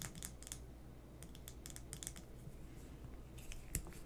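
A small, hollow gold and blue metallic plastic lipstick tube is held in both hands and tapped and scratched with fingernails while the cap is handled. Quiet, dry, bright clicks and scratches sound over a steady low hum, with a sharper click near the end.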